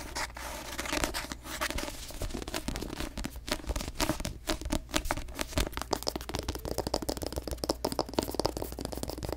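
Long nails tap quickly on the glossy paper cover of a paperback novel, making a rapid run of crisp, dry clicks with a light papery crinkle. Each tap dies away almost instantly.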